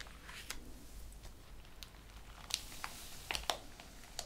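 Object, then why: Printed paper pages in a ring binder. Fingertips and flat hands rub and slide over the printed paper pages of an open, ring-bound thesis, with brief page handling. Quiet, soft papery rustling runs throughout, broken by sharp, bright crinkles and ticks. A few louder crisp snaps come near the end.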